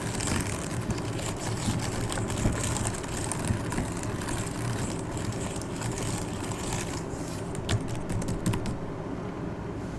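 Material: Plastic.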